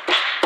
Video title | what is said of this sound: Стучат (скрипят) задние фонари Ford Focus 3 | Слушаем внимательно. Фонарь весь шатается и гремит. Хотя я постукиваю слегка.